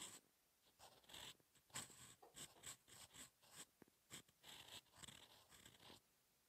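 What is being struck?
Paper sheet scratched by a steel pen nib.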